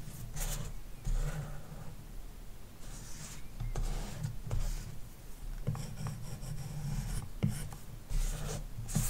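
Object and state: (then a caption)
Stylus scratching on matte-protected glass screen. A plastic stylus tip fills in shapes on a large iPad glass touchscreen covered with a matte screen protector film. The scratching strokes come in bursts of dry, bright rasping hiss over a steady low rumble. Each stroke cuts off quickly with almost no ring.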